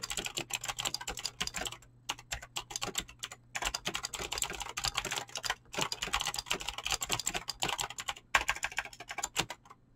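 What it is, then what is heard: Mechanical keyboard with PBT plastic keycaps. Fingertips type quickly on a mechanical keyboard with clicky green switches and PBT plastic keycaps. Dense bursts of bright, sharp clicks with very short decay come in runs, broken by a few brief pauses.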